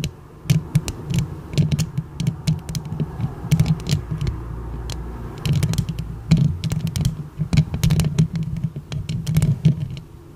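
Long pink acrylic nails on both hands scratch and tap the hollow metal mesh grille of a silver condenser microphone. Quick, sharp clicks and scraping bursts sit over a heavy, low boomy rumble that throbs with each touch and fades briefly between flurries.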